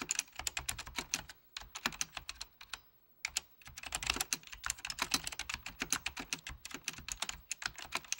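Fingertips of both hands type rapidly on a full-size beige plastic Apple Extended Keyboard II with mechanical key switches. The result is a dense stream of short, bright, clicky keystrokes with very little low end, pausing briefly around the three-second mark before resuming at a steady pace.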